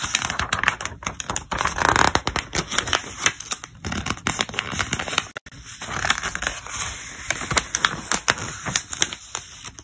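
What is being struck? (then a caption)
Thick glossy paper catalog. Fingertips flip and turn the pages of a thick glossy paper catalog, and the pages crinkle as they are handled. Dense, bright, crisp crackles and rustles run throughout, with one brief pause near the middle.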